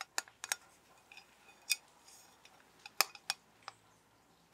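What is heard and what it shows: A metal soap tin is tapped with the fingers, giving about ten deep but crisp taps at an irregular, unhurried pace. Each tap is short and dry with a bright edge and almost no ring, over a quiet background.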